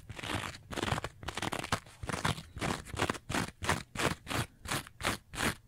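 Long nails scratch the green scouring surface and edge of a rectangular two-layer kitchen sponge with a yellow foam layer, held upright. Rough, crunchy rasping strokes come quickly, dense and overlapping at first, then separating into a steady rhythm of distinct bright, scratchy bursts with short gaps between them.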